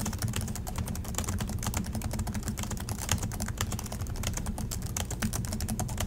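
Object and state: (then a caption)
Plastic laptop keyboard being typed on. Fingertips type steadily on the black plastic chiclet keys of a silver Acer laptop resting on a desk, with both hands pressing keys. A fast, continuous run of sharp, bright clicks rides over a steady low hum.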